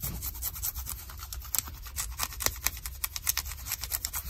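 Long nails scratch along the fabric and seam of light blue denim jeans with a frayed hem at the ankle. The result is a quick run of dry, bright rasping strokes over a faint low hum.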